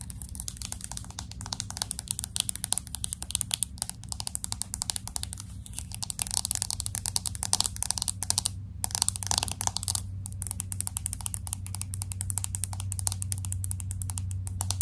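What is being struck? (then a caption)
Glass and aluminum smartphone. Long acrylic nails tap and scratch quickly on the side edge and back of a pink smartphone with a glass back and aluminum frame. Dense, rapid, bright clicks and scrapes run throughout, pausing briefly near 9 and 10 seconds, over a steady low hum.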